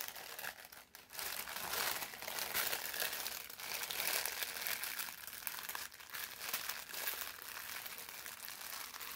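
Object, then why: Thin parchment paper sheet. A folded sheet of thin brown parchment paper is held in both hands and bent and squeezed by the fingers. It makes a steady, dense, bright crinkling and rubbing for about nine seconds, with a brief quieter dip near the first second.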